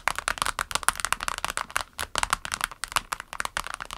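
Long nails tap quickly across a small, clear orange vinyl pencil case with pens inside, lying flat on a table. About nineteen crisp, dry taps sound in a rapid, uneven patter, each with a bright, plasticky click centered in the upper mids and almost no ring.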